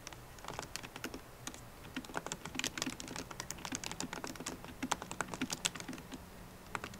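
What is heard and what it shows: Fast typing with long nails and fingertips on a MacBook Pro laptop keyboard, plastic keycaps set in an aluminum body. A rapid, uneven stream of short, dry, clicky taps with bright tops and almost no ring, some strokes sharper and louder than others, over a quiet low background.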